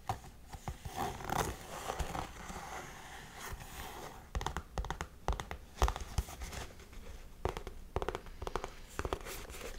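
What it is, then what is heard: Suede boot scratched with fingernails. Long nails scratch across the suede and laces of a hollow, empty tan suede lace-up heeled boot held in the hands. The result is quiet, dry, irregular scraping with bursts of rapid raspy strokes and brief pauses between them.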